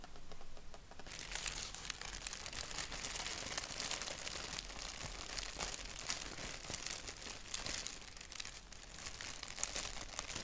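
Fingertips and short nails rub, scratch and crinkle a thin white paper napkin with a black doodle print, held flat. After a softer first second, a dense, bright crackle of papery scratches and crinkles runs steadily, with frequent sharp little ticks and no ringing. A faint low rumble sits underneath.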